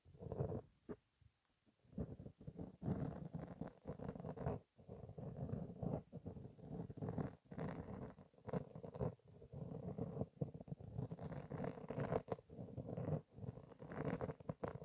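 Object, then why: Foam microphone windscreen. A black foam windscreen covering a microphone is scratched and rubbed by long painted fingernails. Soft, dense scratching and brushing sounds come in quick bursts, heavy in the low end, with brief quiet gaps between strokes.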